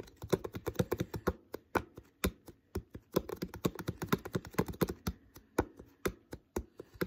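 Fingertips tap the thin plastic near the uncapped neck and shoulder of an empty, hollow, clear plastic water bottle. The result is a quick, uneven series of short, dry, hollow taps with a low-mid tone and almost no ring after each one.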